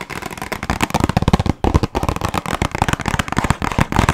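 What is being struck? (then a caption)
Small cardboard box with cookies inside. Long nails rapidly tap a small, closed, red printed cardboard box of burger cookies, hollow with contents inside. The result is a dense stream of short, dry, crackling taps with a hollow low body, pausing briefly at about 1.6 seconds before carrying on.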